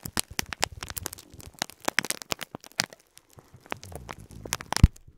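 Fingertips repeatedly press and crinkle a full clear plastic bag of cream plastic faux pearl beads. The result is a dense run of short, bright crackles and sharp clicks over soft low thumps, with a brief quieter pause midway and a louder snap near the end.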